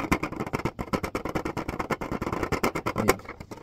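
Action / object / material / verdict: tap / plastic clipboard / plastic / none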